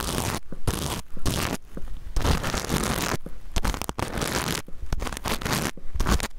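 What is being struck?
Plastic sequin fabric pouch.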